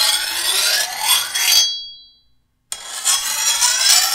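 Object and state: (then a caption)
Steel machete blade being filed. The edge of a long, thin, solid steel machete blade is filed with a hand-held steel file in bright, raspy scraping strokes. After the first burst of filing, the blade rings with a high tone that fades into silence, and then a second burst of filing begins.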